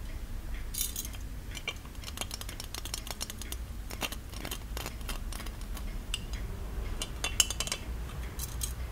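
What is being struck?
Small gold-plated metal ornamental lamp.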